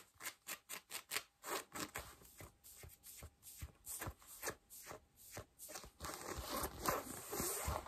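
Long nails scratch worn beige cotton denim jeans and fold the rolled hem or cuff edge, making a series of short, bright, rasping strokes at a fairly steady pace. The scratching grows denser and more continuous near the end.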